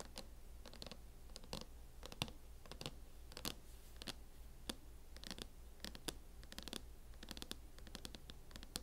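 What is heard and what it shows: Long acrylic nails scratch and tap across a closed MacBook fitted in a mint matte plastic hard-shell case. Quiet bursts of dry, bright scratching and short clicks come in quick irregular clusters over a steady low hum.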